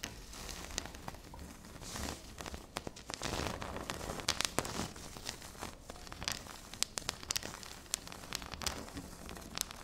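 Long pink nails scratch and tap on a flat, solid, speckled granite-like stone tabletop. Soft, bright scratching rustles run throughout, broken by many sharp, quick taps that die away almost at once.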